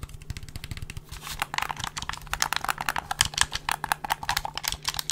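A black plastic gamepad is held in front of the microphone while fingertips tap and click its buttons, triggers and hollow plastic housing. The result is a rapid, steady stream of short, dry, bright plastic clicks and taps that stop almost instantly, with no ring.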